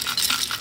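A seized automotive AC compressor, removed from an LS-swapped C10, is shaken, and loose metal pieces from a bearing that came apart inside rattle with bright, high-pitched clinks. The compressor is cracked and broken inside.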